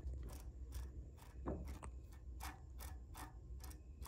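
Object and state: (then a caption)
Bicycle freehub pawl ratchet. Fingertips rotate a greasy steel freehub body with an exposed pawl ratchet on a spoked bicycle wheel hub lying on a blue cloth, and the pawls click against the ratchet ring in a steady series of quick, bright ticks. A constant low hum sits underneath the short, dry clicks.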